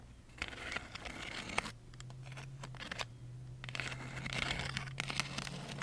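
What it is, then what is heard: Pleated paper fan. Long acrylic nails scratch and rub along the ridges of a large lilac pleated paper fan decoration made of thin folded paper, held in both hands in front of the face. The result is bright, crinkly scratching with brief sharp ticks, over a steady low hum.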